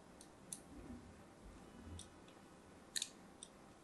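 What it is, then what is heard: Soap bar being scored with a blade. A thin blade scores lines into a solid pink-and-white striped soap bar held in a hand with pink nails. Five short, bright scraping clicks, one early and a tight cluster near the end, sit over a quiet low hiss and die away almost instantly.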